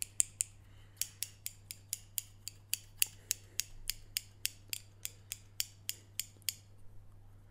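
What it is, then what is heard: Steel scissors snipping. A medium pair of steel scissors with metal blades and orange plastic handles is held in the hands and opened and closed, so the blades scrape and snip against each other. About 24 sharp, bright, metallic snips come in a quick, slightly uneven rhythm over a low steady hum. The snipping stops after about six and a half seconds, leaving only faint rustling.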